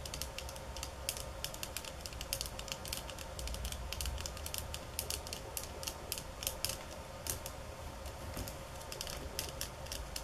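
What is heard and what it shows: Long nails tap hard and fast on the slats of a flat bamboo stick mat at the counter edge. Dense, rapid, sharp clicks with bright, crisp edges ring briefly over a steady low hum throughout.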